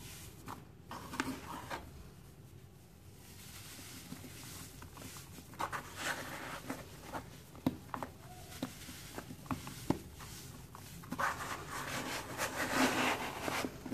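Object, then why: Cement clumps crumbled by fingers. Fingertips crush and crumble a heap of damp, crumbly grey cement clumps in a bowl. Soft, gritty crackling and rustling is punctuated by short, sharp snaps with no ring. The sound builds into a denser, brighter crumbling toward the end.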